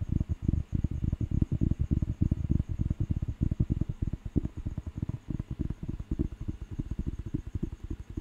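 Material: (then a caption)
Paper. Fingertips scratch the cover and tap the page edge of a thick, solid paper dictionary book. The result is a rapid, uneven stream of short, dry, low-pitched thuds and scratches with almost no ring, over a faint steady high tone.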